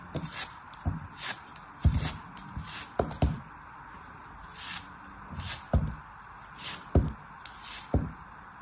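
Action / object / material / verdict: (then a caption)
scrape / block of kinetic sand / kinetic sand / none. A solid small chunk of beige kinetic sand, held in the fingers, is sliced repeatedly with a small blade. Each cut gives a short, soft, low thud with a dry, gritty scrape on top. The cuts come at uneven intervals, with quiet pauses between them.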